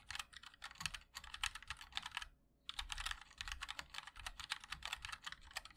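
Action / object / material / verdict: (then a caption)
tap / mechanical keyboard with plastic keycaps in a metal case / ABS plastic / none. Continuous two-handed fingertip typing on a 60% mechanical keyboard with linear switches, white and black GMK ABS keycaps and a black 5-degree aluminum case, set on a wooden wrist rest. The clicks are bright, clacky and short, arriving in fast bursts with a brief pause near the middle.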